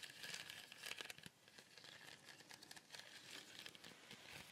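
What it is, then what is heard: Woven basket shaker. A small, colourful cone-shaped shaker of woven fibre on a wooden base is held close and shaken and tilted so the filling inside rustles. The sound is a dense, bright crinkling patter of grains with almost no low end, rising in quick bursts then easing to a softer, steady hiss.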